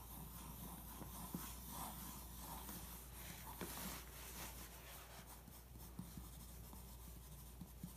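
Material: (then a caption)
Glossy paper. A pencil traces and scratches over a weight plate photo on a glossy paper magazine spread. Soft, dry scratching and rubbing strokes run through the clip with a few faint taps, over a steady low hum.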